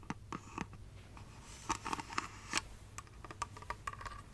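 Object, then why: Small glass figurine lamp. Long red nails tap along the ridged surface of a small, hollow, light-up glass Christmas tree figurine with a base and star topper, held up in the air. The taps come as a quick, irregular series of light, dry clicks, each with a brief glassy ring around 1 kHz and bright upper tones. They die away almost instantly over a soft, steady background hum.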